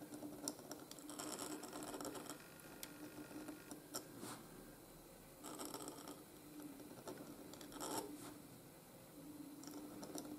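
A steel nib in a wooden holder scratches across a flat white gridded paper sheet while writing cursive letters. Quiet, dry scratching strokes come in bursts with bright, crisp peaks over a faint steady tone. The strokes fade in and out between pauses.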